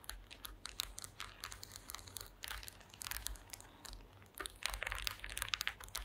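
Long green acrylic nails tap across the slats of a woven wooden slat mat. The result is a dense run of quick, dry, bright clicks with a crinkly texture. A faint low hum sits underneath throughout.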